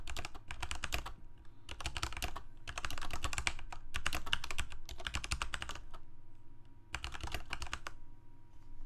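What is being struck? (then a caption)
Plastic mechanical keyboard keys. Fingertips of both hands type rapidly on a full-size Corsair mechanical keyboard with plastic keycaps on mechanical switches, a hollow plastic case and a blue backlight. Quick flurries of sharp, bright key clacks with a deeper thock come in bursts separated by short pauses, over a faint steady hum.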